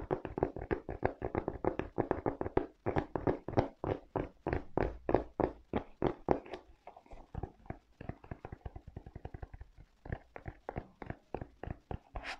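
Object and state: Rubber-soled leather sneaker.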